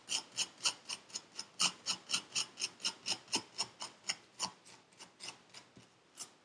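A metal needle tool scratches the surface of purple kinetic sand packed into a paper cup. It makes 21 short, bright, raspy scrapes in a steady rhythm of about four per second. The strokes grow softer and more uneven toward the end.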